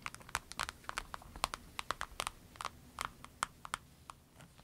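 Long nails tap and scratch across a small, clear orange vinyl pencil case with a snap flap, pens inside, laid diagonally. A quick, irregular series of sharp, dry clicks with a crisp plasticky crinkle rings around 1.2 kHz with bright edges. Each tap dies almost instantly over a faint, steady hiss.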